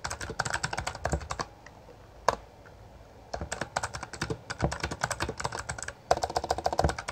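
Both hands type continuously with their fingertips on a Bloody B820R full-size black plastic mechanical gaming keyboard with backlit keycaps and a hollow housing, pressing and striking the keys. Rapid, sharp clicking clatter comes in dense bursts, broken by a quiet pause near two seconds with one isolated hard keystroke, then typing resumes steadily.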